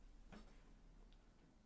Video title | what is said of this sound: United Kingdom Talk Sunday 6th April 2025 | I have a double CD player, which you can hear me tapping there